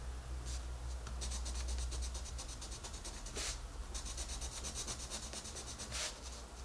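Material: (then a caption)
Paper. A colored pencil rubs over a paper coloring book page on a table, coloring the rabbit's face with small scratching strokes. Quick, bright, papery scratches repeat in fast bursts over a steady low hum, with a few broader rasping swipes standing out along the way.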